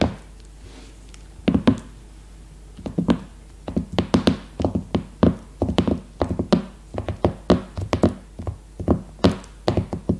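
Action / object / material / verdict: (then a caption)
tap / plastic-wrapped hardcover notebook / cardboard, paper / none. Long red-painted nails tap and drum with both hands on a new A5 hardcover notebook, a solid stack of paper with a glossy leopard-print cover still sealed in clear plastic film, lying flat on a woven placemat. Dull, short thuds with a low body and faint crisp clicks come in uneven clusters after a brief quiet start, growing into steadier drumming. Each hit dies away quickly.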